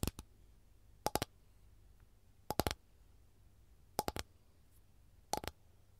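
Long gold nails tap and scratch across an empty, flat rectangular capiz (windowpane-oyster) shell tray with a lemon print, thin and rigid. The sound comes as five quick clusters of sharp, bright clicks with a faint ringing tone near 800 Hz. Each cluster dies away almost instantly into quiet between them.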